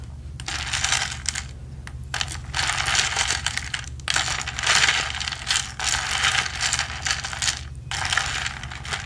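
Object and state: Plastic tumbler with ridged plastic straw.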